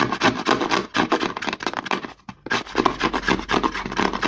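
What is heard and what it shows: Fingertips and short nails rapidly rub and scratch the narrow, embossed-logo side of a white plastic CeraVe lotion bottle held sideways. Fast, dry scratching bursts come about four per second, with a brief pause near the middle before the scratching resumes.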